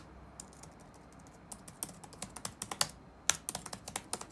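Fingertips type rapid taps on the black plastic keys of an open laptop resting on a wooden desk. Short, dry, bright clicks come in uneven bursts, sparse at first and then quicker, with each tap dying away almost instantly.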